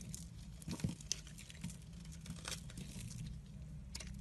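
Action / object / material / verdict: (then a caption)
scrape / bar of soap cut with a knife / soap / none. A hand with red nails holds a solid, rounded white soap bar and shaves it with a utility knife, making flakes fall off. Soft, crinkly scraping comes in a quick series of bright little crackles and rasps over a steady low hum, with a few sharper clicks standing out near the start.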